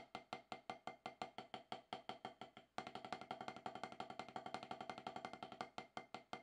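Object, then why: Rubber drum practice pad struck with wooden sticks. Two wooden drumsticks tap on a solid octagonal HQ snare practice pad with a dark rubber surface. The taps are short and dry, with a woody knock around 750 Hz: an even stream of single strokes for about 3 seconds, then a louder, denser run of rapid strokes.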